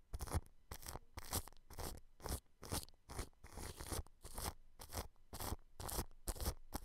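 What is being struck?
Plastic cling film over a microphone.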